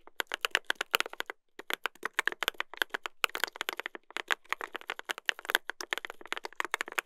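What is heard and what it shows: Two hands type continuously with their fingertips on a mechanical keyboard with a brass plate and plastic keycaps. A rapid stream of sharp, bright, dry key clacks comes with almost no low end and no ring, with a few brief pauses between bursts.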